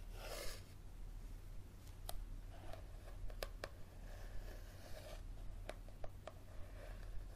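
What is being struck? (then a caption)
Paperback book with glossy card cover. Fingernails scratch the glossy card cover of a yellow paperback book as it is held upright and then tilted. The result is soft, dry rasping with scattered sharp, bright clicks over a steady low hum, all at a quiet level.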